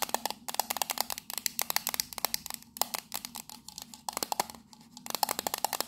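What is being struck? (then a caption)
Small metal tea tin with lid. Long nails tap and scratch the sides of a hand-sized, hollow, octagonal printed metal tea tin with its lid on as it is turned in the hands. Around three dozen quick, dry, bright clicks come in fast bursts, each with a short tinny ping and almost no ring, with scratchy hiss between them and a couple of brief lulls.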